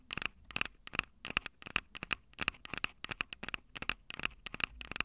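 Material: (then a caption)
Plastic, metal. Long acrylic nails tap the metal-grilled microphone capsules of a Tascam DR-05 handheld recorder, a small, hollow plastic-bodied unit. Quick, irregular clusters of sharp, bright clicks, centered around 2.6 kHz, come in rapid bursts. Each dies away almost instantly with no ring, over a faint low background.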